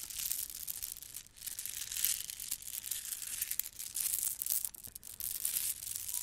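A gold plastic bead garland is held in both hands, rolled with long nails and dangled, its strands rattling in a dense, continuous bright clicking and rustling. The sound is almost entirely high-pitched, with little low end, and swells and dips in waves as the beads are worked.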